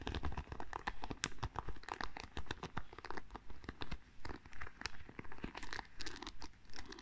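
Long nails scratch and flick across the wooden pins of a small wooden paddle hairbrush. The result is a quiet, close stream of dry, crisp clicks and scratchy rasps in uneven bursts, each tick stopping almost instantly.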